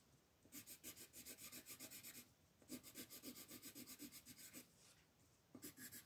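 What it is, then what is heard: Colored pencil shading on a paper sheet. A dark red wooden colored pencil rubs and scratches across a flat white paper mandala coloring sheet while shading petals. Quick back-and-forth strokes come in three bursts with short pauses between, making a bright, dry, raspy scratching with a soft low body and almost no ring after each stroke.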